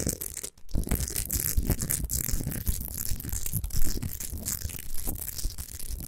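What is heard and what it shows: Long nails scratch and rub quickly over the top and sides of a rough, solid rock-salt Himalayan salt lamp with its light off. The scratching is dense and gritty, with a bright, raspy hiss over a low rumbling body. It continues with only a brief pause near the start and swells loudest just before the four-second mark.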